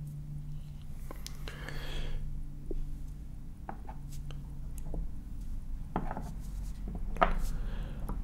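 Wooden blocks are tapped, scratched and rubbed close up. Sharp, short knocks with a mid-pitched woody tone are separated by soft rubbing and scraping, over a low steady hum.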